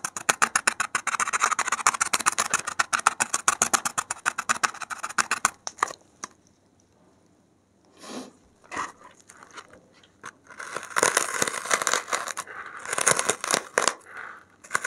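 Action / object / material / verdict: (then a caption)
scrape / expanded polystyrene foam block / polystyrene foam / none. A gloved hand scratches and digs a metal safety pin into the surface of a solid white expanded polystyrene (thermocol) foam block, loosening a few foam beads. Rapid, dry, bright squeaky scraping runs steadily for about five seconds, then falls to near silence with a few isolated scratches. Dense scraping bursts return toward the end.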